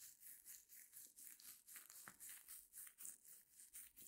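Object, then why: Reticulated foam block. Long nails scratch and press a small white solid reticulated foam block held in both hands, making about a dozen quiet, rhythmic strokes. Each stroke is a soft, bright, hissing scratch with a slight crinkly texture and almost no low end.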